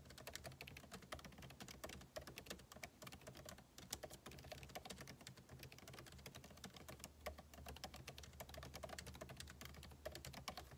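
Two hands type fast with their fingertips on the backlit keyboard of a MacBook Pro laptop, with plastic keycaps set in a hollow aluminum body. A continuous stream of short, crisp, bright key taps runs over a low steady hum.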